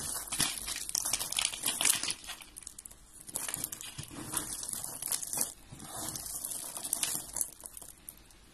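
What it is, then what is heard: Dry soap shavings. Finely crushed dry white and blue soap shavings on a gold surface are squeezed and crumbled by hand and fingertips with red-painted nails. The sound is a dense, bright, crisp crunching and crinkling, mostly high-pitched, with quick bursts that rise and fall over a faint low background.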